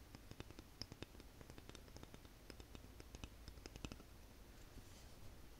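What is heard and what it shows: A light, solid wooden wide-tooth comb is tapped and flicked along its teeth and spine with long nails. Quick, dry clicks and scratchy flicks come in an irregular stream, with bright transients over a low, soft background. Each tap dies away almost instantly.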